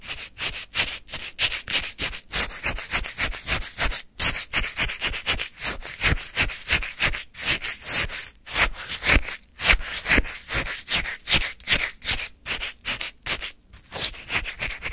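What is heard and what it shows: A flat wooden spoon scrapes and digs into the icy surface of a full paper cup of orange, granular shaved-ice sorbet held in the hand. Dozens of quick, crunchy scraping strokes follow one another steadily for fifteen seconds, each a short, bright, gritty burst with almost no ring.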